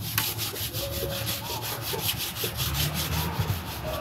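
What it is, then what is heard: Leather boot being buffed with a cloth. A shoeshiner buffs the toe of a black leather Dr. Martens boot on a shoeshine stand, working a cloth held in both hands back and forth. The strokes make a steady, rhythmic rubbing swish with a bright, airy top and a low rumble underneath. Faint tonal squeaks come through as the cloth drags across the leather.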